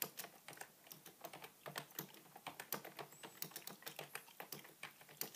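Fingertips type continuously on the keys of a beige full-size plastic computer keyboard resting on a wooden table. Around 29 quiet, bright keystroke clicks fall in an irregular rhythm, each dying away almost instantly with little low end.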